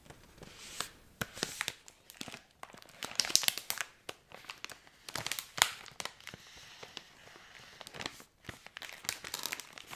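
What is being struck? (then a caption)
Thin plastic foil candy bag. A medium-size Cadbury Creme Egg Twisted bag of thin plastic foil, filled with candy, is held in both hands and crinkled and squeezed with fingertips and painted nails. Bright, crackly crinkling comes in quick, uneven bursts of varying loudness, with very little low end.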